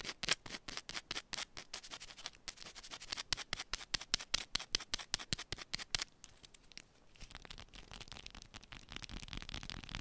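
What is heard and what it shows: Long pointed nails rapidly scratch and tap the surface of a small, solid yellow bar of soap held in both hands, making a fast run of short, crisp, bright scrapes. After about six seconds the strokes blur into a quieter, steadier hissing scratch.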